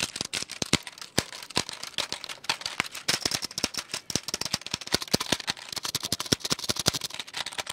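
Fingertips rapidly tap and press the keys of a full-size black plastic computer keyboard with a hollow shell, held up in the air. The result is a dense stream of sharp, bright clicks and clacks with almost no ring and little low end, some strikes landing harder than others.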